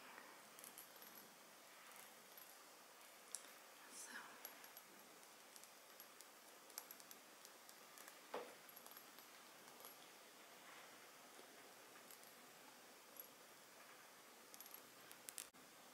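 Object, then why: Small glass perfume bottle. Long metallic-painted nails tap and scratch the glass body of a Replay for her perfume bottle, a small round bottle with a ridged, faceted surface and a white plastic cap, filled with liquid and held up close. Quiet, sharp, bright clicks stand out over a faint, steady hiss of soft scratching. Each tap dies away almost instantly.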